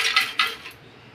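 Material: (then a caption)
Fried vegetable. Crispy air-fried bitter gourd pieces are handled, giving two quick, bright crackling rustles that fade within about a second. The crunchy sound shows the pieces came out crisp.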